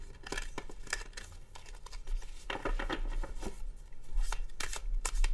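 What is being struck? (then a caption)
Deck of coated paper cards. A black-backed deck of coated cardstock tarot cards is shuffled repeatedly by hand with the fingertips over a wooden table. The cards riffle and slide against each other in quick, uneven bursts of bright papery snaps and soft rustles. A faint low hum runs underneath.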